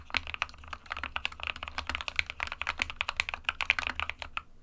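A small 60% mechanical keyboard with a white plastic case and plastic keycaps sits on a desk mat while fingertips of both hands type on it continuously. The result is a steady, fast stream of short, bright clicky keystrokes, each dying away almost instantly, over a faint low hum.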